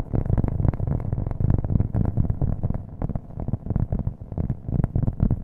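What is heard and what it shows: Fingernails tap rapidly on a thin, solid, round cork coaster held upright by the microphone. The taps come as a fast, continuous stream of dull, low, boomy thuds that die away almost instantly, with almost nothing in the high range.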